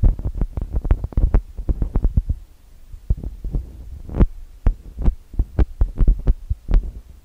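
Fingertips and nails tap and rub on the metal-grille microphone capsules of a TASCAM DR-40X recorder. The result is a rapid run of close, deep thumps with a steady low hum beneath. A brief lull around the middle gives way to sharper, spaced taps.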